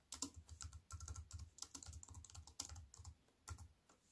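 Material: Plastic.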